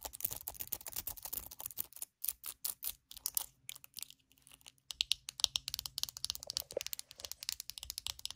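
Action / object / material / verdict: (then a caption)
tap / plastic hairbrush / plastic / none. Long acrylic nails rapidly tap the hollow back of a small glossy purple plastic hairbrush and scratch across its plastic bristles. The result is a dense stream of quick, dry, bright clicks and crackly scratches. A brief quieter stretch in the middle is followed by sharper, louder taps.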